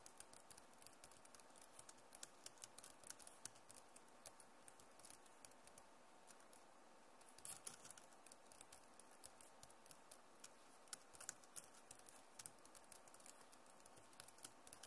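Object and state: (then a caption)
Plastic laptop keyboard. Long nails type fast on the keys of a backlit plastic laptop keyboard, giving a quick stream of sharp, bright clicks and taps over a steady low hiss. The tapping runs the whole clip, with a slightly quieter stretch before a denser burst near the middle.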